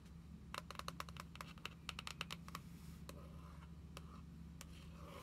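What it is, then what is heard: Spiral-bound paper book with laminated card cover, tapped with nails. Long acrylic nails tap and trace across the front cover of a small, closed, spiral-bound National Parks passport book made of paper, with a glossy dark-blue and gold laminated card cover, lying flat on a wooden table. A quick run of sharp, bright, clicky taps with no ring fills the first half, then a few sparser taps and soft scratchy tracing follow. A low, steady hum runs underneath throughout.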